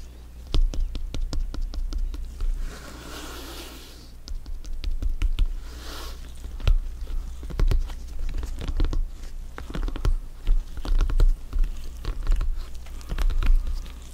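A blue, stitched synthetic-leather soccer ball, hollow and inflated, rests on a dark surface while black-gloved fingertips tap and pat its upper panels. Rapid, dull patters and short, sharp taps with a deep, hollow low thump run throughout. Brief bursts of soft scratchy brushing come in between them.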